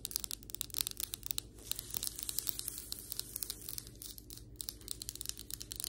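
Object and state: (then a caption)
Ceramic floor tile tapped and scratched. Long white acrylic nails tap and scratch across solid ceramic floor tiles and along the grout lines. The result is a dense run of sharp, bright clicks and dry rasping scrapes with almost no ring, over a faint, steady low hum.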